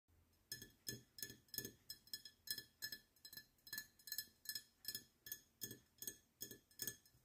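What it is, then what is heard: Glass beer bottle. A glass beer bottle is tapped repeatedly in a steady, slightly uneven rhythm for ASMR, producing a series of bright, short clinks. Each tap rings briefly at a high pitch before fading away quickly.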